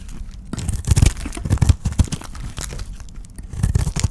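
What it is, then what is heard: Dry soap bar. A solid white oval bar of dry soap, held in the hand, is scraped and shaved with a utility knife blade, and flakes break off. Dense, dry crunching and tearing scrapes come in irregular bursts with a heavy low thud to them, growing loudest around the first and last seconds.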